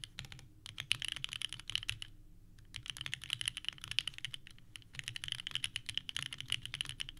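Fingertips type quickly on a purple-cased mechanical keyboard with white plastic keycaps, and by the end the hands press the keys in a fist-like position. Rapid, dry, bright clacks come in three dense bursts separated by short pauses, with a sharp click around 3 kHz and a faint low rumble beneath. Each keystroke stops almost instantly, with no ring.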